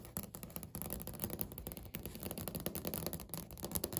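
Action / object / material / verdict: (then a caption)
tap / laminate countertop / laminate / none. Natural fingernails quickly tap and scratch across a flat, solid, speckled beige laminate countertop. The result is a dense, continuous stream of short, dry clicks and scrapes with a soft low body and faint bright edges that stop almost instantly.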